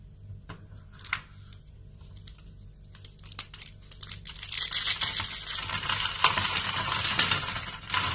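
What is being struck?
Soap shavings.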